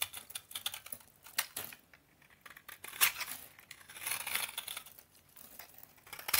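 A snap-off utility knife blade shaves and scrapes the surface of a solid, dry, crumbly rectangular bar of vintage Soviet orange toilet soap held in one hand, cutting it into crunchy flakes. The sound is a quick run of bright, crisp crunches and scratchy clicks, with a few longer raspy scrapes and almost no low end.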